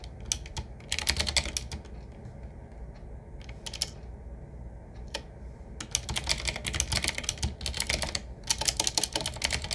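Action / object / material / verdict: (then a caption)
tap / mechanical keyboard with round metal-rimmed keycaps / plastic, metal / none. Both hands type with the fingertips on a 7Keys typewriter-style mechanical keyboard: medium-sized, with round black keycaps set in metal rings on a wood-finish frame and a hollow case. Irregular flurries of crisp, bright clacks alternate with sparse single taps in the middle, then grow denser and louder toward the end. A low hum runs underneath.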